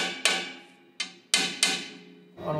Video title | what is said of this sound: 【激レア】新幹線の車両整備にカメラが潜入！“時刻通りに安全に”の「当たり前」を支える女性構内操縦士の思い | 手に伝わる振動もちょっと鈍い音がしますね